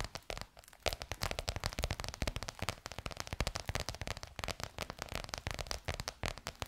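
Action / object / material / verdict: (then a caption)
tap / embossed faux leather cover over a curved hollow form / faux leather / none. Long nails tap rapidly on a bronze-gold crocodile-embossed faux leather cover stretched over a curved hollow form. The result is a dense, continuous run of short, crisp clicks with a crackly, bright edge and a low hollow thump beneath, each tap dying away almost at once.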